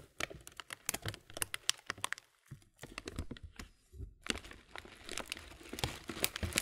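A clear plastic muesli bag full of granola has its corner film rubbed between the thumb and fingers, giving dense, bright crinkling and crackling in quick bursts. The crackles briefly thin out about a third of the way in and again just past the middle before picking back up, with the rustling staying soft and close.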